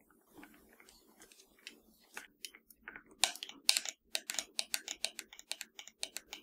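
Long nails tap and scratch the buttons and sticks of a hollow black plastic PS4 controller. Soft, bright scratching at the start builds into quick, sharp clicking taps that turn more regular and louder toward the end. A faint low hum sits underneath.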